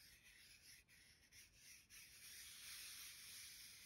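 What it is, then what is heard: Paper greeting card scratched with nails. Long gold-tipped nails and fingertips trace and scratch across a thin, solid card-stock greeting card with a mouse-and-bee illustration, lying flat on a stack of cards. A soft, bright, papery rubbing comes through in short strokes, then settles into a steadier, slightly louder hiss of scratching.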